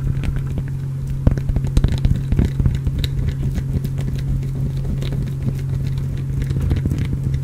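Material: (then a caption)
Glycerin soap. A small, solid, translucent orange glycerin soap bar is held in the hand and scratched with fingernails right next to the microphone. Quick, irregular crackling scrapes sit over a steady low hum, with a few sharper scratches standing out early on.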